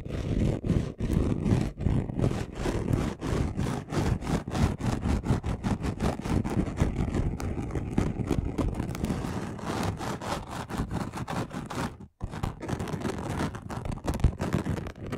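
Both hands scratch their fingernails quickly across a flat, chunky gold glitter craft sheet. The result is a dense, continuous run of rough, rapid scratching with a heavy low rumble and little high-end sparkle. It briefly cuts out about twelve seconds in, then resumes at the same fast pace.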